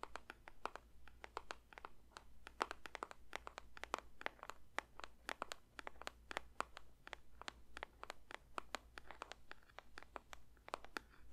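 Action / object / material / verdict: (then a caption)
tap / paper box / paper / none. Fingers lightly tap a paper box in a rapid, uneven stream of soft, dry clicks that stop almost instantly and carry a bright papery edge. A faint steady low hum sits underneath throughout.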